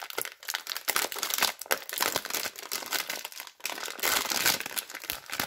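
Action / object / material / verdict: scrape / plastic cellophane soap wrapper / plastic film / none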